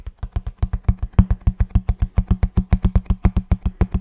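Fingertips tap the surface of a hollow kraft cardboard box held vertically, producing a quick run of about 29 dull, low thumps with very short decay. Each tap lands as a soft, deep knock with a faint papery click on top.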